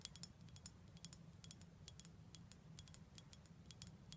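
Light, rapid taps on a glass bottle of prickly pear cactus syrup produce a quick series of bright, clicky ticks with a faint ring near 3.3 kHz that dies away almost instantly. A steady low hum runs underneath the whole time.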